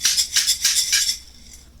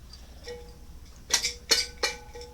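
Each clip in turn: First: properly dried dehydrated vegetables, crisp rattle. Second: spoiled dehydrated potatoes in a jar, dull thud.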